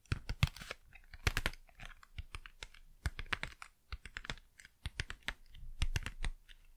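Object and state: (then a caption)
Cardboard packaging, tapped. Fast, crisp tapping on cardboard packaging produces a rapid run of short, dry clicks with a low thump under each tap. The hits fall in quick irregular clusters and die away almost instantly.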